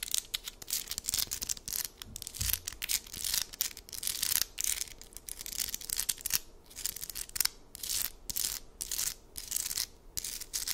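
Long acrylic nails scratch and tap fast across a hand-sized, heart-shaped amethyst geode slab of solid stone, with a purple crystal face and grey rim, held close. Dense, bright, scratchy bursts come in rapid strokes with brief gaps and very little low end. Each stroke cuts off sharply with no ring.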